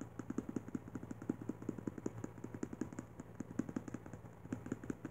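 Fingertips tap and scratch the glossy card front cover of a thick, worn paperback video-game cheat code book held in one hand, and the book is then turned over to its back cover. A steady run of quick, dull taps centred low around 260 Hz is heard, each dying away almost instantly, with faint bright ticks and a soft scratchy hiss underneath.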